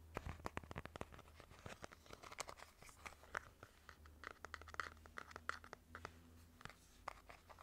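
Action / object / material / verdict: scrape / moulded plastic face mask / plastic / none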